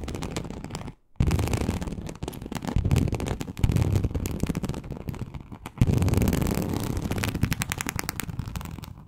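A large, flat teal snakeskin-embossed leather sheet, likely faux, lies on a surface and is scratched with very long acrylic nails on both hands. Dense, rapid scratching carries a heavy low-frequency rumble. The sound comes in loud bursts, with one brief silence near the first second.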